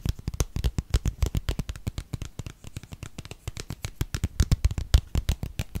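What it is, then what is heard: Plastic squeeze tube. A gold-colored plastic cosmetic squeeze tube with a gold cap, held in the hands, is tapped and scratched with fingernails. A fast, steady stream of short, dry taps comes through with dull, low thumps and faint bright clicks. Each hit dies away almost instantly, with no ring.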